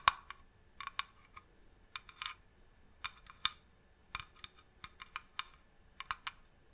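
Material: Wood.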